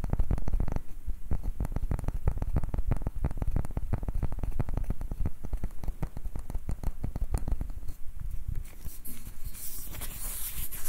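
A palm-sized, light, round wooden ribbed ball with a grooved surface is held in both hands while fingertips and short nails tap and scratch it. The result is a steady stream of rapid, dry, low wooden taps with almost no ring, and a brighter scratching hiss near the end.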